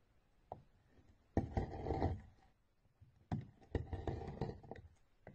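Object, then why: Bar of soap scraped with a metal knife. A metal knife blade scrapes and shaves thin curls off the top of a solid rectangular orange bar of soap with embossed lettering, held by a hand with blue-painted nails, and the shavings pile up beside it. After a soft tap, there are two bursts of dry, low, crackly scraping, each about a second long, separated by a quiet pause.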